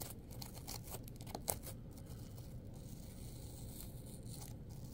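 Long pointed acrylic nails claw and tear the flesh of a heavily torn red apple, with pieces of skin and pulp lying on a paper towel. Quiet, wet tearing and crackling comes in short bright bursts over a steady low rumble, with one sharper snap standing out near the middle.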